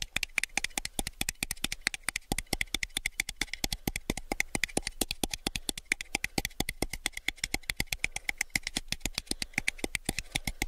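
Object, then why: Small rigid plastic cup. Fingertips tap rapidly on the side wall and base of a small, clear, rigid plastic cup that is hollow and empty. The result is a fast, steady stream of sharp, bright clicks that stop almost instantly, with little low-end body and a faint hollow tone.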